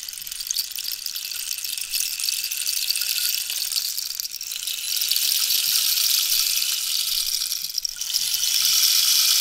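Long nails scratch along the ridged surface of a long, hollow, wooden dried-cactus rainstick with a rainbow-banded end while it is tilted. The result is a continuous bright, hissing patter like falling rain, almost entirely high in pitch with no low end. It dips briefly twice and swells back louder each time.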